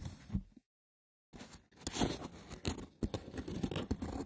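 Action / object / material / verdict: scrape / woven wicker basket / wicker / none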